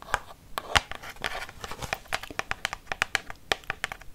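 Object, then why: Plastic pump bottle. Long fake nails tap a hollow, white Dove plastic lotion pump bottle about 20 cm tall, with light crinkly scratching between strikes. About two dozen quick, bright, clicky taps follow one another, each dying away almost at once, with no deep ring.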